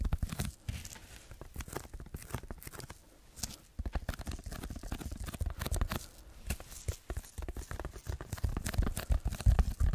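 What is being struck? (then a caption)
Textured packing foam block. Fingertips scratch and tap the textured surface of a rectangular red packing foam block held in both hands and tilted. The result is a dense run of dry, crackly rasps and quick taps with a brief quieter pause near the middle, plus muffled low thumps that grow stronger toward the end.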